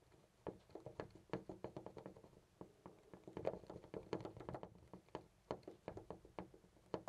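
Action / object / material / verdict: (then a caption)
shake / brass door knob on an interior door / brass / none. A hand grips a loose brass-colored metal knob on a white interior door and jiggles it in place. It gives a rapid, irregular series of short, dry clicks and knocks with a mid-pitched tone and almost no ring. The rattling stays quiet and uneven throughout, showing the knob is loose.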